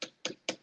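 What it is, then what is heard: Hard plastic helmet inner shell. Three short, bright knocks on the hard plastic inside a cutaway structural fire helmet. The shell sounds hard rather than cushioning like foam, with each tap dying away almost instantly.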